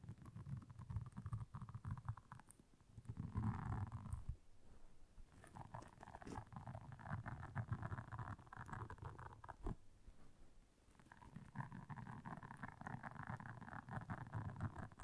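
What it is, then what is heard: Silicone scrubber pad. A round, flat blue silicone scrubber pad with soft bristles lies on black fur and is scratched and tapped across its bristles with long nails. The result is a low, soft, continuous scratching and rustling with dense rapid taps. The sound thins out briefly around 4–5 seconds and again near 11 seconds.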